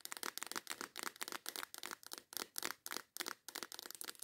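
Long white acrylic nails rapidly tap and scratch the lid and sides of a small transparent plastic case full of colorful nail files. The result is a fast, irregular run of short, dry, bright clicks and scrapes with no low end, and each sound dies away almost instantly.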